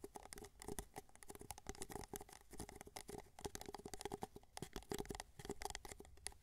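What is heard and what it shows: Fingertips rapidly tap and scratch the base of a small, hollow, empty white paper cup held sideways. The result is a quiet, dense patter of short, dry clicks and scrapes with a faint hollow tone around 390 Hz.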